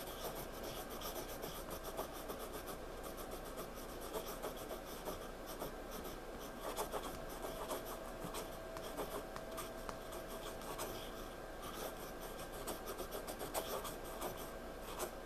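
A pencil held upright scratches short strokes across a page of a spiral-bound paper sketchbook lying flat. The quiet, steady scratching continues throughout as a soft, dry rasp, flecked with brief brighter ticks and a faint mid-pitched tone.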